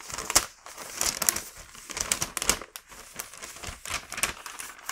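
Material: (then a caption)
Wax paper. A single thin sheet of printed, patterned wax paper, about 25 cm wide, is held in both hands by the fingertips and bent, flexed and rubbed, while empty paper bags sit still nearby. It makes bright, dry crinkling in irregular bursts with sharp crackly peaks and almost no low end. Each crackle stops instantly with no ring.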